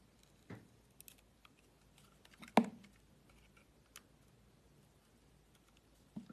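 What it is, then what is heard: Bar soap being cut and scraped. A solid green and white striped bar of soap, held in the hand, is cut and scraped with a utility knife blade. Six soft, dry cuts and scrapes come through over quiet crackling, with one sharper, brighter slice near the middle that dies away almost at once.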